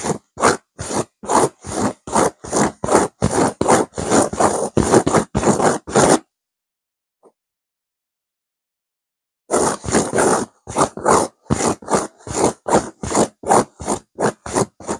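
Long fingernails on one hand scratch quickly and repeatedly across a stuffed pillow with a blue burnout velvet cover and a cream petal pattern. Each stroke makes a rough, raspy scrape with a bright hiss on top. The scratching runs for about six seconds, stops for roughly three seconds of silence, then resumes at the same brisk pace.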